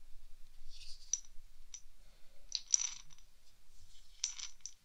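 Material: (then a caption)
Glass. A small clear glass test tube, corked and partly filled with green beads, is held in both hands and shaken and tilted. The beads rattle and clink against the glass in short, bright bursts with high, sharp ticks that die away almost instantly between quiet gaps.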